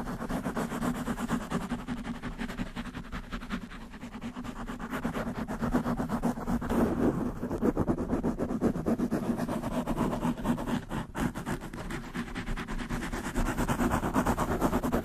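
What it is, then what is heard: Foam microphone windscreen being scratched. Long nails of both hands scratch fast over a black soft foam windscreen on a large microphone. The result is a continuous, dense crackling scratch with a low rumble, steady throughout with a brief swell in the middle.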